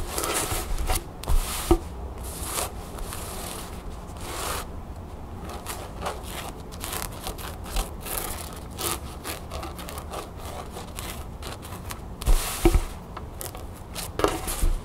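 A cream cotton canvas pouch with a blue crown print, lying on a wooden table, is rubbed with flat palms and scratched with long nails. Soft, dry brushing and scraping strokes repeat irregularly over a low rumble, with a few sharper scratches standing out near the start, the middle and the end.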